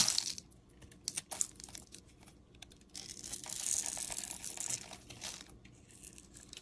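A metal utility-knife blade scrapes and shaves thin strips off a solid, cream-colored oval bar of soap held in the fingers. Bright, crisp scraping and crackling comes in short bursts, with a longer, louder shaving stroke in the middle, then softer scratches to the end.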